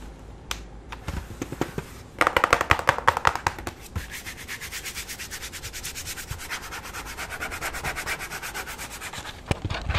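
Fingertips and nails rub and scratch the flat grey plastic back panel of a full-size keyboard turned upside down, its hollow body giving a light, dry resonance. A few sharp isolated taps give way to a loud burst of dense scratching, then a steady run of quick rhythmic scratching strokes with a bright, papery texture. The clip ends with a couple of crisp clicks.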